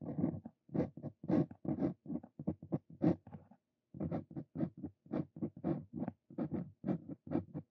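A Brause Cito Fein steel dip pen nib scratches handwriting strokes across a thin flat paper card resting on a wooden desk. Short, papery scratches come in quick bursts, with a brief pause a little before the middle before the writing resumes. The scratching is soft and low-to-mid in tone, with almost no bright edge.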